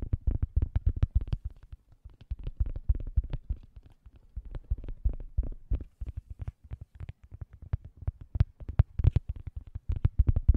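Fingernails rapidly scratch and tap a thin, solid, round cork coaster held edge-on beside the microphone. The result is quick, irregular bursts of dull, deep, thumpy taps and soft scratches that die away almost instantly, with brief pauses between flurries.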